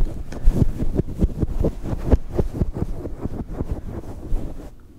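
Fingertips of both hands pluck, scratch and rub a fluffy grey-white faux fur windscreen on a small microphone. The result is a close, muffled, low-heavy rumble of soft thumps and rustling bursts with nothing bright on top, fading quieter in the last moments.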